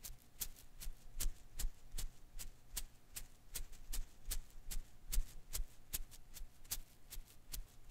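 A hand-sized blue and green rubber-filament Koosh ball is held in one hand while the fingers rub and pluck its strands. About 22 quick, bright, dry snaps and ticks come in an uneven rhythm over a soft, low rustle, each one dying away almost instantly.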